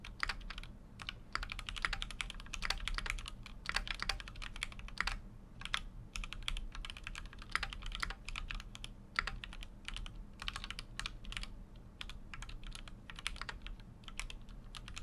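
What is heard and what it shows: Fingertips type continuously on a full-size Keychron Q6 mechanical keyboard with an aluminum case and plastic keycaps. Dense runs of short, bright, clacky keystrokes end almost instantly, with brief pauses between bursts, over a steady low hum.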